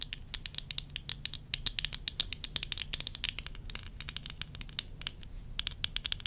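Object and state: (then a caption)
Plastic eyeglass frames tapped with nails. Long nails tap rapidly across the bridge, lenses and rims of worn tortoiseshell plastic eyeglasses. The result is a steady patter of sharp, bright clicks that stop dead with no ring, over a faint low hum.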